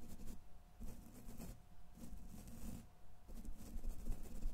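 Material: Steel mesh.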